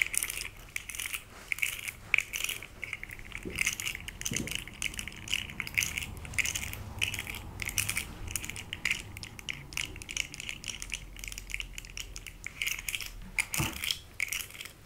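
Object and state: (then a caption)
Plastic fidget slug toy. A small rainbow plastic articulated fidget slug toy is held in the hand while long red nails scratch and flex its segments. The result is a dense, continuous stream of crisp, bright clicks and scratchy ticks with almost no low end and no ring after each tap.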